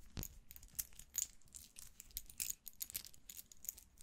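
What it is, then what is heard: Metal wristwatch bracelet. A small gold-tone metal wristwatch with a link bracelet is held in the hands while fingertips handle, fold and click the metal bracelet links. Quiet, bright metallic clicks and tiny clinks come in an irregular run over a faint rustling handling noise, each tick dying away almost instantly.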